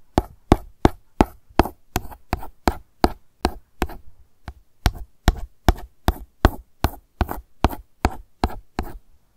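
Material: Plastic.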